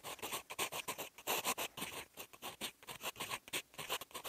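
A steel fountain-pen nib scratches across a sheet of lined writing paper while writing in green ink. The sound is a quick run of bright, dry scratching strokes with almost no low end, each stroke short and separate.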